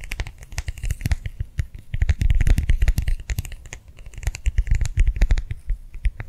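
A small round clear plastic gel-filled hand warmer pad is held in both hands and tapped and squeezed with the fingers and nails. Quick, uneven taps come in dense bursts: soft, dull thumps mixed with bright, clicky nail ticks. Each tap dies away almost instantly, with brief louder flurries in between.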